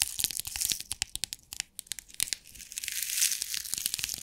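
A small rectangular clear plastic compartment box with rhinestones inside is shaken upright, then tapped on the lid with long nails while it lies flat. It makes a dense run of bright, crisp clicks and a gritty rattle, with almost no low end and each tick dying away instantly.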